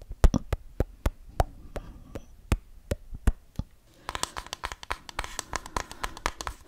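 Fingernails tap and scratch the body and lenses of a small hollow plastic twin-lens style toy camera held close to the microphone. Sharp, dry clicks come at a steady pace over a low thud, and after about four seconds they turn busier and brighter with a faint scratchy rustle between them.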